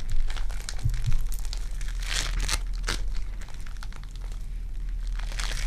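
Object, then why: Foam bead clay. Purple foam-bead clay is squeezed in the fist and pressed with fingertips, giving a continuous run of fine crinkling and crackling with sticky little pops. Brighter bursts of crunch stand out now and then over a steady low hum underneath.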